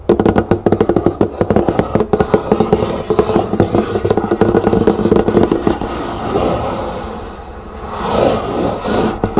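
Long green nails of both hands rapidly tap on the lid of a large, hollow, lidded cardboard box printed with butterflies and flowers, producing a quick run of dull, hollow knocks. The tapping then gives way to softer, continuous scratching across the lid, which swells into a brighter rasp near the end.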